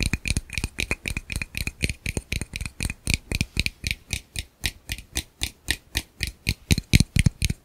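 A small, hollow, empty black plastic camera lens rear cap, held in one hand, is tapped rhythmically with the fingertips of the other hand close to the microphone. About 37 short, dry taps come in a quick, slightly uneven rhythm. Each tap has a low thump and a bright plastic click that dies away at once.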